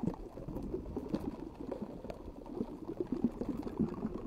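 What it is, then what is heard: Metal mesh microphone grille. Long acrylic nails tap and scratch the round, hollow metal mesh grille of a rhinestone-decorated pink microphone. A dense, continuous patter of soft, quick ticks and scratches sits in the low-mids, with no bright top end. Each tap dies away almost at once.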